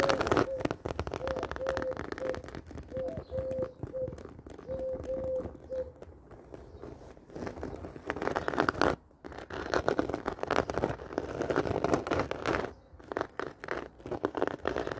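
Long dark-painted nails scratch and tap across the woven panel of a medium, hollow black handbag with a woven-pattern faux-leather surface. Dense, crackly scratching and quick tapping run throughout, with a faint intermittent tone near 500 Hz over the first six seconds. There are brief pauses around nine and thirteen seconds.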